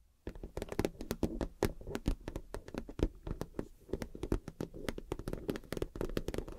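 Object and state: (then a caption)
PVC vinyl makeup bag, tapped and scratched. Fingernails tap and scratch on a clear PVC vinyl makeup wash bag with gold glitter and a cactus print. Quick, dry taps land in a fast, steady run over a soft scratchy rustle, with a low, close, muffled body and little high brightness.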